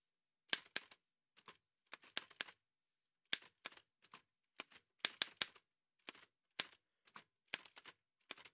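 Fingertips in white satin gloves type continuously on an old dark-grey metal manual Remington typewriter with paper loaded and a hollow body. Sharp, bright key taps come in quick clusters separated by short pauses, each strike ending almost instantly with a dry, high click and no low thump.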